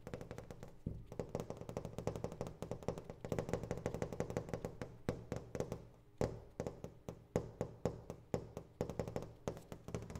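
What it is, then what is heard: Glass sliding door pane, tapped. A large flat glass pane of a sliding door in a metal frame is tapped with the fingertips and nails of an open hand. Quick, dense runs of soft, dull taps carry a low thud, with brighter clicks from the nails and very little ring. The tapping runs steadily throughout, with a few sharper, louder taps in the second half.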